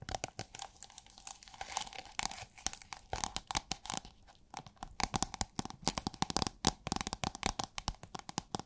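Long nails tap and scratch a thin holographic plastic film rolled into a hollow tube and held horizontally. The result is a dense run of quick, dry, crinkly clicks and scratchy rustles with a bright, papery edge and no ring after each tap, coming in uneven bursts with a brief lull in the middle.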